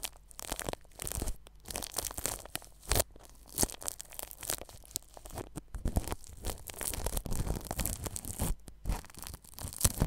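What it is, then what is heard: Plastic cling film brushed over a microphone. A red-handled paintbrush brushes across plastic cling film stretched over a white ball-shaped microphone with a metal mesh grille. It makes a close, irregular crinkling and crackling with short rustling bursts and heavy low-end thumps.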